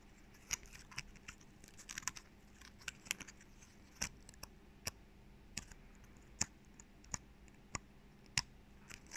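Fingertips and nails scratch and flick the stiff scales of a small, dry brown pine cone held in both hands close to the mic. The result is a series of short, bright, dry clicks and flicks over soft, quiet scratching, with almost no ring after each one.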